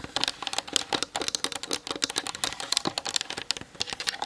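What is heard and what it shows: Long nails tap rapidly on the top and sides of a plastic-bodied Canon DSLR camera. About 26 dry, bright clicks land in quick, uneven succession with almost no ring or low end, sounding like fast clacking typing.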